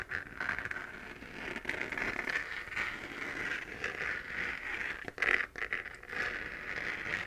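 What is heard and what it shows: Long nails scratch the textured surface of a 3D-printed plastic moon lamp, a hollow lit plastic sphere, making a steady, rough, crackly rasp. The scratching is bright, centered around 2 kHz with little low end, and swells and fades in short strokes, with a sharper, louder scrape just past the five-second mark.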